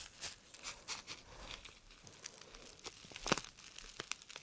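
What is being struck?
Thin paper packet.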